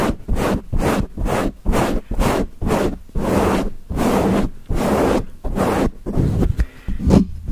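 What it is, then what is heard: Foam microphone windscreen scratched. Nails and fingertips of both hands scratch fast and hard on a grey foam windscreen covering a microphone. About fourteen rough, bursting scratches come in an uneven rhythm, each a dense broadband rasp with a heavy low-end rumble and brief gaps between them.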